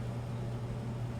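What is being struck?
Nothing is struck.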